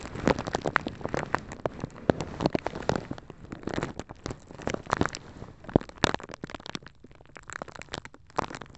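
A small, clear, empty plastic zip-lock bag is held over the top of a microphone and squeezed and crinkled with fingertips and nails. This makes dense, dry crackling and sharp crinkly snaps that sound like rain pattering on a surface. Quick bursts of crackle come one after another, with quieter gaps between them.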